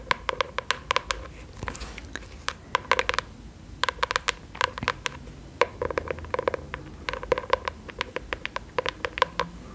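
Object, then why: Cardboard notebook cover. Long acrylic nails tap and scratch the surface of a flat brown kraft cardboard notebook or folder held in both hands. Clusters of quick, dry taps with a hollow ring near 1 kHz are broken by a brief scratching swipe. Each tap dies away almost instantly.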